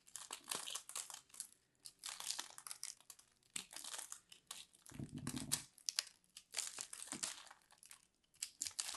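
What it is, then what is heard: Soap ball being scraped. A fist-sized solid ball of grated purple soap, held in a hand with long manicured nails, is scraped and carved with a metal blade tool, and shavings crumble off. The result is a run of dry, bright, crinkly scraping and crumbling bursts, with a fuller, lower crunch around the middle.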